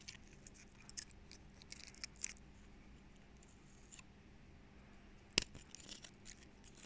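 Fingernails scratch and flick the woody scales of a small dry pine cone held in both hands. Soft, bright crackling and scratching comes with occasional sharp clicks, the loudest just past the five-second mark, over a faint steady low hum.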